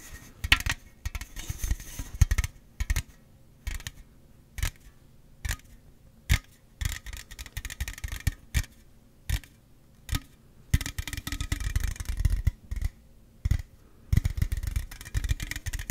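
A slim Celsius aluminum drink can, held sideways in front of the mic, is tapped and scratched on its body with the fingernails. Dense bursts of scratching and tapping give way to slower, separate taps in the middle, then build back into fast, busy scratching. Each tap lands as a short, dull thump with almost no ring, layered with a bright, raspy scrape.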